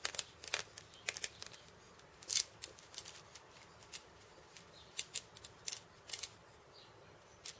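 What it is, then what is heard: Cabasa with steel bead chains. Fingertips tap and scratch the steel ball chains wrapped around a small hollow wooden cabasa, giving irregular bursts of bright, dry metallic rattling and clicks. The sound is almost entirely high-frequency, with short, sharp bursts that decay almost instantly and quiet gaps between them.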